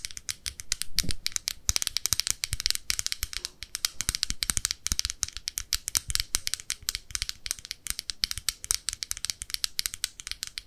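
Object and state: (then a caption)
Plastic makeup compact. Long nails rapidly tap and scratch the clear lid and rim of a small round red plastic blush compact with a metal clasp, a hollow case holding pressed powder, while it is held in both hands. The result is a dense, continuous stream of sharp, bright clicks and rattly scratches with almost no ring, over a faint low thud underneath.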